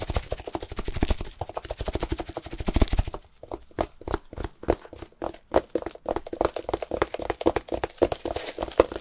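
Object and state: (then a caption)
Plastic-wrapped compressed hay block. Gloved fingers rapidly tap and scratch a plastic-wrapped compressed hay block. A dense, fast patter of dull taps and crinkly scratching fills the first three seconds. The taps then turn sparser and sharper, each one short and dry with a faint bright crackle before it dies away quickly.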